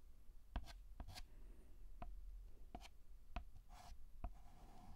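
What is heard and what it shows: White chalk writes on a black chalkboard in horizontal and vertical scratching strokes. Sharp little taps as the chalk meets the board are followed by brief, bright, scratchy strokes, all quiet against a low background rumble.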